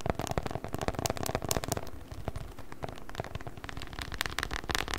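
A rolled, patterned beeswax-coated cotton wrap is squeezed and crinkled with the fingers close to the mic. It gives a dense, continuous crackle of sharp, bright clicks over a low, muffled rumble, with brief louder bursts throughout.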